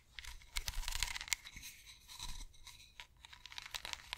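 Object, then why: Ridged wooden massage roller. Long acrylic nails scratch along the carved grooves of a solid, cylindrical wooden massage roller with ridges. The result is a dry, rapid run of bright, crisp ticks and rasps, centred around 2 kHz and fading almost instantly, over a soft low rumble.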